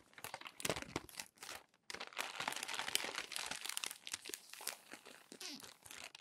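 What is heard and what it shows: Fingertips turn and flatten the wrinkled pages of a crumpled glossy paper magazine resting on a desk. Dense, bright crinkling and crunching rustles continue throughout, pausing briefly just before the two-second mark, with almost no low end and no ringing after each crackle.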